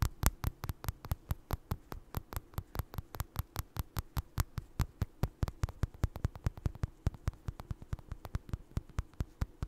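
Fingertips and nails scratch and tap a small, soft, stuffed orange crocheted doll with eyes, held close to the mic. About 49 quick, dull, low thumps come in a fast, uneven rhythm, each dying away almost instantly over a faint, soft scratching hiss.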